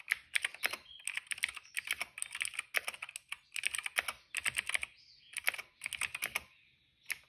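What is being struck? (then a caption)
Plastic mechanical keyboard. Fingertips type fast on a cream plastic retro mechanical keyboard with plastic keycaps and a hollow case. Bursts of rapid, bright, clacky keystrokes with almost no low end are separated by short pauses. Each click cuts off almost instantly.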